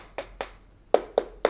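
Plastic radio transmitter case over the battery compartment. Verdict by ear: Hollow.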